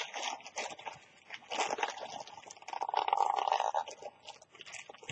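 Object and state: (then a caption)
Plastic shopping bag being crinkled and torn. Fingers with long nails tear and crinkle a thin, empty, partly torn orange plastic carrier bag with a Kwantum print. The result is a dense, irregular run of crisp crackles and rustles with a bright, hissy edge, swelling into a louder sustained crinkle midway before settling back to softer rustling.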